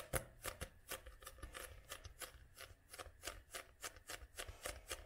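Long nails tap and scratch the glossy front cover of a paperback book held upright. Quick, light taps with a dry, papery click come in a steady, uneven run, each dying away almost at once.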